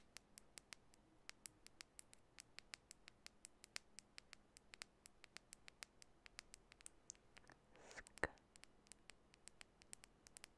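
Long bare natural nails tap a small clear glass nail lacquer bottle, partly filled with clear liquid and held between the hands. Dozens of quiet, sharp, bright clicks land in an irregular patter, each dying almost instantly. Near the end a brief soft rustle comes just before one noticeably louder tap.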